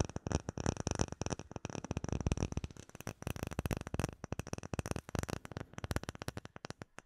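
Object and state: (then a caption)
Acrylic plate tapped and scratched. A flat, solid, clear acrylic plate with embedded bubbles is held in both hands while fingertips and nails tap and scratch across it. Dozens of quick, dry taps follow one another in a steady, uneven rhythm, each a short low thud with a faint bright click and almost no ring. Light scratching fills the brief gaps between them.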